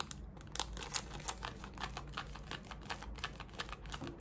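Long red nails scratch the waistband and front fabric of worn, light-wash cotton denim shorts. A quiet, rapid run of short, dry scraping strokes sounds bright and crisp over a faint low rumble, with a few sharper ticks standing out near the start.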